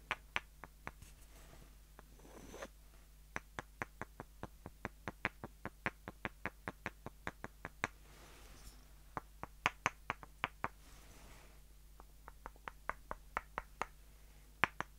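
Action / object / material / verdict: knock / pair of light wooden dowel sticks / wood / none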